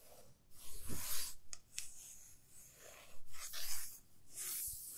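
Long fingernails scratch along the surface of a 30 cm solid light wooden ruler held horizontally. Bright, raspy scratching strokes come in irregular bursts of hissy friction with quiet gaps between them.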